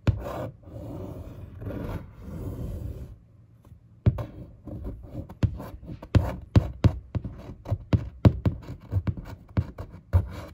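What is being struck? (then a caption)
Large printed cardboard box. A fingertip and a long nail trace over the printed text and image on a large printed cardboard box for a 24-inch monitor, which stands upright and hollow. Slow, soft scratchy rubbing swells for about three seconds, then a brief quiet. It gives way to a faster run of dull, hollow taps and short scrapes with a low, boomy body.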